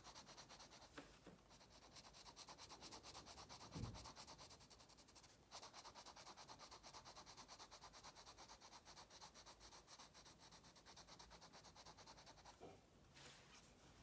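An orange wax crayon held in the fingers rubs in rapid strokes across an open paper coloring book page lying flat on a table, scratch-coloring the paper. The result is a steady, dense, bright scratchy rustle of quick back-and-forth strokes, with a brief louder bump near the fourth second and short pauses around 5.5 and 13 seconds.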